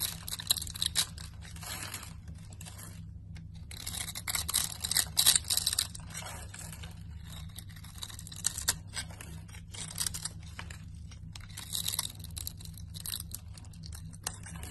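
A utility knife blade scrapes across the grid-scored surface of a solid rectangular red soap bar held in a hand with a painted thumbnail, crumbling tiny red cubes off. Dense, bright, dry scratching and crackling comes in uneven bursts over a steady low hum.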